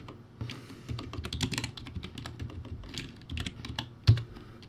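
Fast two-handed fingertip typing on a low-quality plastic typewriter-style keyboard, backlit, with round white plastic keycaps. A rapid, uneven stream of hollow plastic clicks with a low, clattery body ends in one louder clack near the end.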